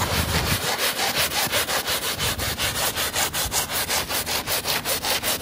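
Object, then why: Soapy woven fabric rug scrubbed with a plastic bristle brush. A hand scrubs the soapy backing of a woven fabric rug with a plastic bristle brush. It makes a steady run of quick back-and-forth strokes, each a bright, hissy, wet rasp with a light low rumble underneath.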